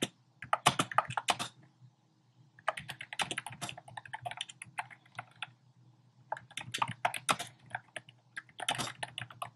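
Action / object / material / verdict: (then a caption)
tap / plastic mechanical keyboard / plastic / none. A compact plastic mechanical keyboard with a black plastic case and round pastel plastic keycaps is typed on with fingertips. Bursts of quick, bright clicky keystrokes come in three runs separated by short pauses, over a faint low hum.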